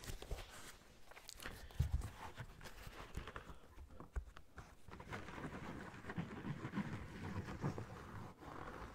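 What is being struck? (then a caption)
Knit mesh sneaker with rubber sole. A running shoe with a yellow knit mesh upper and a rubber sole is held close up while fingertips tap on the sole and fingers and nails scratch across the mesh. The clip gives dull, low taps mixed with soft, bright scratching and rustling throughout.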